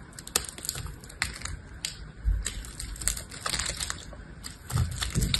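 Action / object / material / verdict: scrape / bar of soap cut with a small knife / soap / none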